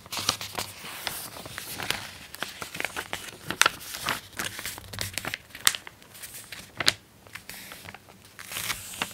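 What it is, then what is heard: Glossy paper magazine pages rustling. An open glossy paper magazine has its pages turned and rubbed flat with the palm and fingertips. The result is a bright, crisp rustling and crinkling of paper in quick, sharp bursts with almost no low end.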